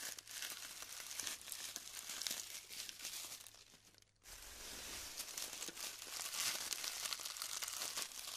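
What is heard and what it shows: Clumps of glued styrofoam beads are lifted and crumbled between the fingers, producing dense, bright crinkling and crackling with small snaps and pops. The crackling fades to a brief near-silence around the four-second mark, then resumes just as busily until the end.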